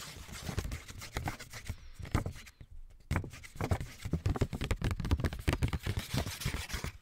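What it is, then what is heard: Paper index card pad. A small pink lined paper index card pad, held in both hands, is tapped and scratched with fingertips and short nails. Quick, dull, low thuds come in dense bursts, mixed with soft scratchy rustles. There is a brief quiet pause partway through before the tapping picks up again, louder and faster.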